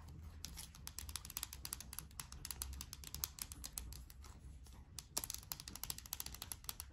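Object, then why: Small plastic dough tub. A small yellow plastic Play-Doh tub, likely full of dough, is held in both hands and tapped and scratched along its labeled side with long nails. It makes a dense run of quick, dry, bright clicks and scratches that die away instantly, over a soft low rumble.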